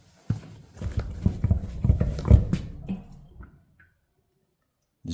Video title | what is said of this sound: New Rubber for the 830-Industrial - Part 2 | If I do this. Did you hear that sloshing?